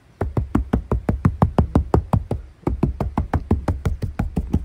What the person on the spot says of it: 全然違うでしょこれで雨音もだいぶシャットアウトされるでしょうこれは違うねオこの防音効果成功だな